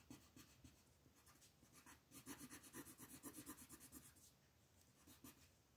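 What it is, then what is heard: Colored pencil shading on a paper page. An orange wooden colored pencil is rubbed back and forth in quick, scratchy shading strokes across a thin printed paper coloring book page lying flat on a wooden table, while the other hand with long nails holds the page. Soft, dry rasping starts light, builds into a burst of rapid, rhythmic strokes in the middle, then eases back to gentler scratching with a few final strokes.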